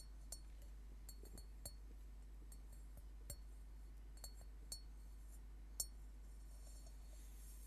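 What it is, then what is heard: Metal singing bowl. An upside-down hollow metal Tibetan singing bowl has its outer surface tapped with fingernails, giving eight sparse, quiet, bright clicks with a faint metallic ping. Each tap dies away almost at once. A steady low hum runs underneath throughout.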